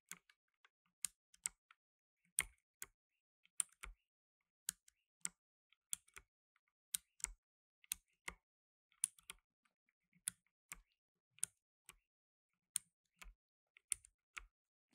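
Blue nitrile-gloved fingertips press keys on a black tenkeyless mechanical keyboard with plastic keycaps, resting solidly on a dark table. About 26 sharp, bright clicks sound one at a time over 15 seconds. Each is quiet and dies away almost instantly, with a faint low thump under some strokes.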